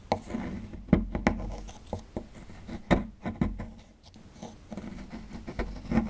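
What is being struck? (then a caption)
Plaster fossil dig block. A small dark digging tool scratches and scrapes along the edge of a small solid white plaster block with a dinosaur skeleton relief, near the bones, while the block is held in hand over loose plaster chunks. Dry, gritty scraping runs throughout, broken by sharp, quick-fading ticks and knocks with a dull low body.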